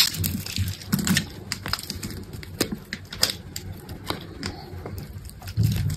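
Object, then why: Bar of soap cut with a blade. A metal box-cutter blade scrapes and cuts grid cubes from the edge of a solid green soap bar held in a hand with pink nails. Crisp, bright scraping and crackling clicks come in quick bursts over a low, soft rumble of handling, with louder sweeps near the start and end.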